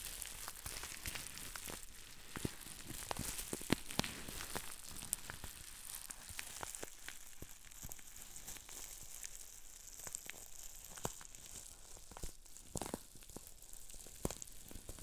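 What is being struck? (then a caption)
Plastic bubble wrap sheet. A medium sheet of green plastic bubble wrap is held in front of the body while fingertips squeeze and twist it, popping many small bubbles. Sharp, quiet pops scatter throughout, mixed with a steady bright crinkling hiss from the plastic.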